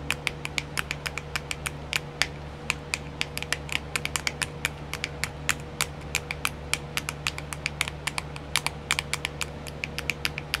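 Long nails tap rapidly on a small, round, clear plastic nail art wheel with filled compartments. The result is a fast, irregular stream of sharp, bright plastic clicks that die away almost instantly. A steady low hum sits underneath.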